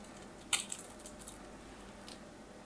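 A small knife blade scrapes and carves a hand-held, hand-sized solid orange bar of soap with a crosshatch-scored surface, sending curls falling. One sharp, bright, crisp scrape is followed by a few fainter, quick scratches over a quiet background.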